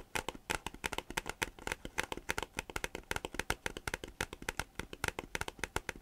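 A thin, glossy green plastic folder or notebook cover is held upright in both hands, then flexed and rubbed with the fingers. It gives a rapid, steady series of short, dry crinkling and shuffling bursts. The sound is bright and crisp, with little low end and almost no ring after each burst.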